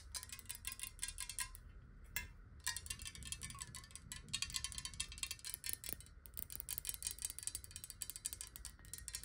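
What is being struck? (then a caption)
Glass water bottle. Long nails tap quickly on a clear, square, hollow glass water bottle partly filled with water. The result is a dense stream of bright, clicky taps with a faint glassy chime and very short ring, over a low steady rumble.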